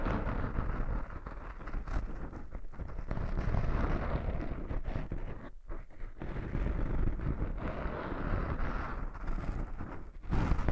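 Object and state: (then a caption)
Foam microphone windscreen being scratched. Fingertips and short nails of a right hand scratch and rub the side of a small black foam windscreen over a microphone. The result is a continuous, muffled, low rumbling rustle with steady scratchy texture and brief dips in level.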